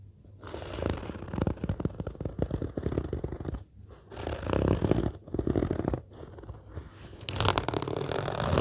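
Long fingernails scratch and tap the top of an orange padded fabric zippered case lying flat, using both hands. The result is a dense, rough rustle of soft, muffled scratches and taps, heavy in low-frequency thud. It swells louder in bursts and briefly drops off in a few short pauses.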